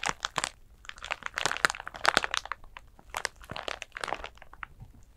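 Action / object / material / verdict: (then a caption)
scrape / glitter-covered flat pouch / glitter / none. Long nails scratch and crinkle a flat glitter clutch bag, a pouch covered in coarse glitter. Dense bursts of dry, bright crackling and crinkling come in uneven clusters, with almost no low end and no ring after each scrape.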